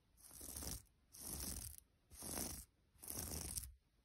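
Long almond-shaped nails and fingertips scratch and rub across a large, soft, flat piece of striped yellow, white and grey knitted fabric, such as a blanket or sweater. Four separate strokes of dry, bright, hissing friction rise and fall over a soft low rumble, with brief quiet gaps between them.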